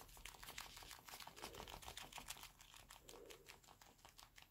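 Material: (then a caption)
Leather. Both hands in black leather gloves, with a metal wristwatch visible, are rubbed, squeezed and clenched against each other. The result is a quiet, irregular run of rapid, bright leather creaks and crinkly squeaks.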